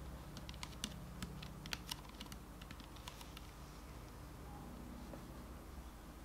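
A medium clear plastic Garnier micellar water bottle with a pink cap, hollow and partly filled with liquid, is held in hand and tapped on its sides with fingertips and nails. Quick, light, clicky taps come thickly through the first two and a half seconds, then thin out to faint ticks over a steady low hum.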